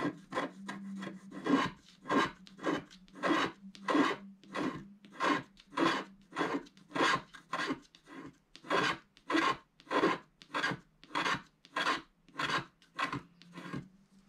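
A wooden stylus scratches the background off the upper area of a black wax-coated scratch art card lying flat and solid. It makes steady, repeated raspy strokes, bright and papery with a faint low hum beneath. The strokes come at a regular pace of roughly one to two per second.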